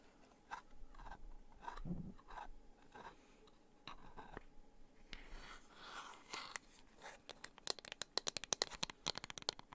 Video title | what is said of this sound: [ASMR] Unboxing Birthday Gifts 2.0! ❤️ Soft Spoken ✨ Tapping, Crinkly Sounds | so there's something about the sound of scratching and tapping on wooden objects that i particularly enjoy